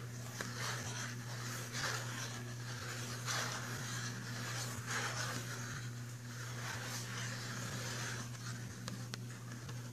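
A fingernail scratches and taps the front cover of a filled, printed cardboard box of pastel pencils. Soft, dry scratching strokes come in bursts with occasional light taps over a steady low hum.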